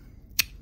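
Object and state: All-metal airsoft gas magazine.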